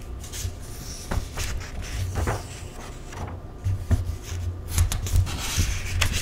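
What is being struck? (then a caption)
Paperback cookbook with thin paper pages. Bare fingertips and a palm rub and slide across the thin paper pages of an open paperback cookbook lying on a table, lifting the page edges in its index section to turn them. Soft, dry rustling and brushing run throughout, broken by sharper papery flicks and swishes as pages lift and turn, over a steady low hum.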